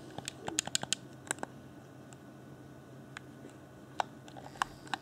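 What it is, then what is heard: Plastic game controller tapped and clicked. Fingertips tap and click near the shoulder buttons and top shell of a hollow, transparent plastic Xbox One Afterglow game controller. About fourteen short, bright plastic clicks stop almost instantly: a quick cluster in the first second and a half, then scattered taps. A faint low hum sits underneath.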